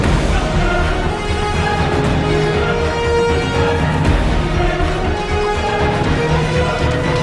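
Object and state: Nothing is struck.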